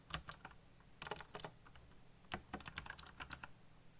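Fast fingertip typing on a backlit black plastic mechanical keyboard produces quick bursts of sharp, bright clicks that stop almost instantly. The bursts are separated by brief pauses, over a faint low hum.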